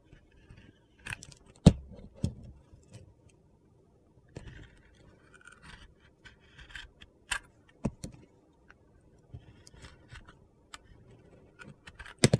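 A utility knife carves into a glitter-coated white soap bar, cutting through the glitter layer and the white soap. About a dozen short, crisp cuts and gritty scrapes come through, separated by quiet pauses.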